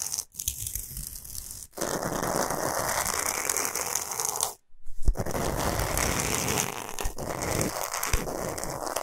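Long pointed nails scratch and tap across the surface of a large, flat, solid pink Himalayan salt block, making a dense, gritty, crackling scrape across a broad range with bright hiss on top. The scratching runs almost continuously, broken by short silent pauses near the start and around the middle.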